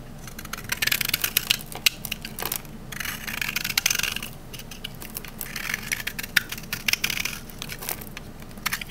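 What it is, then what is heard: Dry green olive-oil soap bar shaved with a knife. A rectangular solid green olive-oil soap bar, held in the hand, has its edge shaved with a metal utility knife blade into dry, crunchy curls. The result is a steady run of bright, crisp scraping and crackling, with dense clusters of sharp crunches that swell and fade in waves.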